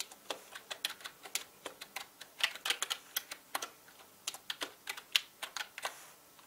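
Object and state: Plastic mechanical keyboard being typed on.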